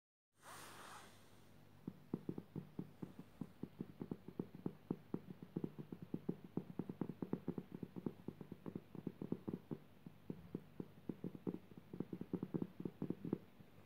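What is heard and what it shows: Long dark purple painted nails tap and scratch across a flat, coarse-woven jute burlap surface, likely the back of a rug lying on the floor. A quiet start gives way to a long, steady run of short, dry, muted taps with faint scratchy texture between them. Each tap dies away almost instantly with no ring.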